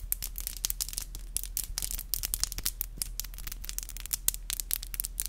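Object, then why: Acrylic fingernails. Long black acrylic nails are tapped together, nail on nail, in a rapid, uneven run of sharp, bright clicks with no ring after each tap. A steady low hum sits underneath throughout.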